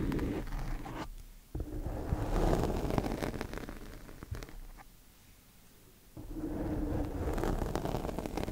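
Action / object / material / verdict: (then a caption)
scrape / foam microphone windscreen scratched with wooden sticks / foam / none. Two thin wooden chopsticks scratch and tap a black foam microphone windscreen, producing dense, muffled, low-heavy scraping and rustling with occasional sharper taps. The scratching fades briefly around the first second and again through a longer quiet stretch in the middle, then resumes at full intensity.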